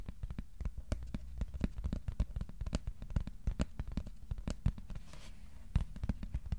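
A flat, thin white cardboard sheet about A4 size, held on the lap, is tapped rapidly with the fingertips of both hands. The result is a dense run of short, dry, dull thumps with a deep low body and almost no ring, over a faint high hiss.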